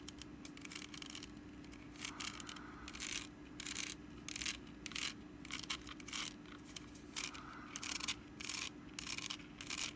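Long nails scratch the woven sides of a small, orange, hollow, empty wicker pumpkin basket base with its lid off. The result is bright, raspy scraping in repeated bursts, over a faint steady low hum.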